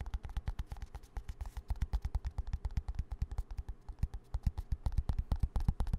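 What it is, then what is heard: Plastic hand cream tube. A small green plastic hand cream squeeze tube is tapped and scratched with fingertips and nails close to the mic. The result is a fast, uneven run of soft, dull, low thuds with brief clicky scratches between them.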